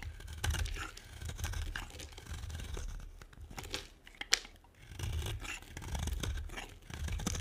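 A metal blade scrapes and carves shavings off a solid, dry green bar of soap. The result is a steady run of soft, dry scratching and tearing sounds with low rumble underneath, and a sharp, bright click stands out near the middle.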